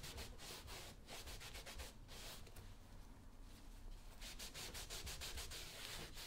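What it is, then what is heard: Leather work boot being buffed. A brown smooth leather lace-up work boot, worn on a foot, is rubbed and buffed repeatedly by fingers wrapped in a yellow cloth while the other hand steadies it. Quick, steady swishing strokes give a soft, airy hiss with bright texture over a low, dull rumble. The rubbing continues at an even level throughout.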